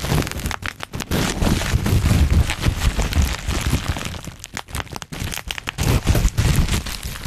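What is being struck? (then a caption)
Plastic bubble wrap. A large sheet of black plastic bubble wrap is bunched over the microphone while fingertips pinch and pop its bubbles. Sharp cracks and snaps fire off rapidly and irregularly over a dense, low crinkling rustle. Bright crackle runs throughout, with brief quieter gaps between bursts.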